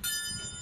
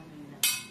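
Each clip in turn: First: genuine brass stove burner. Second: iron stove burner, not brass.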